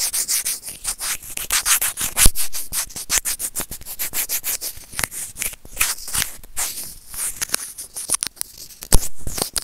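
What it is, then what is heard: Plastic earphone mic remote scratched with tweezers. Serrated plastic tweezers scratch and grip a small, hollow white plastic earphone inline microphone remote. It makes a dense run of quick, bright, dry scratching and rubbing bursts with a hollow plastic click, each dying away almost at once. The scraping comes in uneven pulses of varying loudness throughout.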